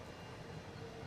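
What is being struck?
Nothing is struck.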